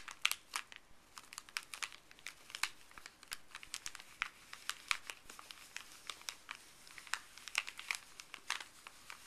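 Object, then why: Thin paper bag, folded. Fuzzy gloved fingertips scratch and rub a small folded stack of thin paper from a paper pharmacy bag. The result is a steady stream of bright, dry crinkles and sharp crackles with almost no low end, each snap dying away instantly.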